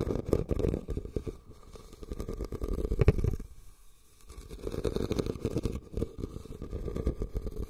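Fingertips and short nails scratch and tap a red, medium-sized woven rattan basket that sits hollow, empty and upside down over the recorder. The result is a dense, muffled, low-heavy rustle of quick scratches and soft taps, with a sharper knock near the three-second mark. The sound eases into a brief near-quiet lull before the scratching picks up again.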